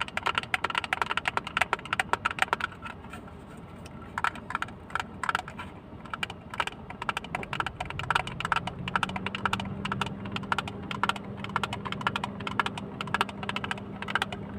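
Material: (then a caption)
Plastic. A small, hollow, closed blue plastic case with a textured, crate-like surface is tapped rapidly with fingertips and nails. The result is a dense run of dry, short clicks and taps with bright edges. From about the middle of the clip, a steady low hum sits underneath them.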